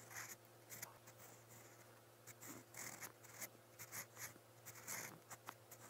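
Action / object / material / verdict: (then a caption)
scrape / steel pen nib on paper notebook page / paper / none. A steel fountain pen nib scratches quick strokes in brown ink across a lined white page of a spiral notebook. The result is a quiet series of short, bright, scratchy bursts over a faint, steady low hum.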